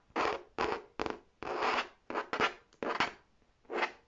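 Long painted nails scratch and tap the front surface of a large, hollow red faux leather tote bag. Nine separate bursts of rough, creaky scratching are heard at an uneven pace, each a short rasp of midrange and bright texture with little low end, separated by quiet gaps.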